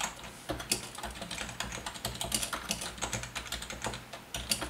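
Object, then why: Plastic membrane keyboard. Fingertips of both hands type quickly on a full-size black plastic Logitech wave-style ergonomic membrane keyboard with a hollow body. The result is a fast stream of short, bright, hollow plastic clacks. Faint music may sit underneath.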